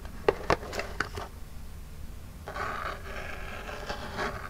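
Long jeweled nails scratch and rub the front of a small, flat, printed Birchbox cardboard box that is hollow. A few sharp, quick scratches come first, then a quieter pause, then a steadier, brighter rubbing that continues to the end.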